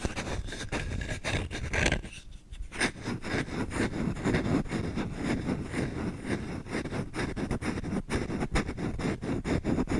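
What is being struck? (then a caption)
Wooden spoon. Fingertips scratch fast and hard across a solid wooden spoon as its bowl is turned edge-on and face-on. The result is a dense, rapid run of dry, raspy scratches with a low-heavy body, a brief quieter lull just after two seconds, then steady busy scratching to the end.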